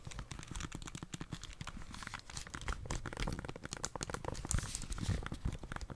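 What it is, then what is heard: Plastic game console tapped. Long dark-painted nails tap rapidly on the back and sides of a plastic Nintendo Switch console with Joy-Cons and press its buttons. The result is a dense, continuous stream of quiet, dry plastic clicks and taps with a soft low thump under crisp, bright ticks, each one dying away almost at once.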